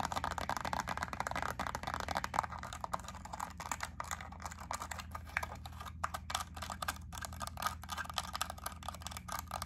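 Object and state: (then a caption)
Plastic clamshell wax melt pack. Long acrylic nails tap quickly on a small clear plastic clamshell pack of white wax melt cubes, turning it from the label side to the wax side. Dense, fast plastic clicks sit over a steady low hum, with a bright midrange tick and very short, dry decays.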